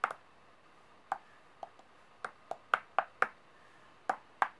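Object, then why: Brass-coloured metal coins on a flat surface. Long painted nails tap, slide and push about ten large, brass-colored, gold-toned solid metal coins on a white surface. Irregularly spaced, sharp, bright clicks and clinks sound against near silence. Each is quick and dry with only a very short ring.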